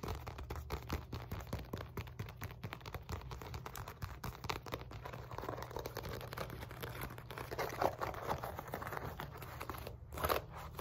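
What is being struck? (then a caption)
Padded synthetic leather focus mitt. Long nails tap and scratch across the face and handle area of a black padded synthetic leather focus mitt with a white center circle. The result is a dense run of quick, dry clicks and crinkly scrapes over a steady low hum, with a few louder scratches toward the end.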